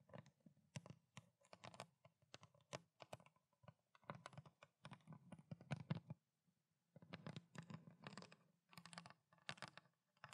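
Fingernails rapidly tap and scratch the ridged body of a small, clear plastic water bottle with water inside, held horizontally. Quick bursts of soft, dull, low-pitched taps mix with brief scratchy clicks. A short pause falls near the middle before the tapping resumes.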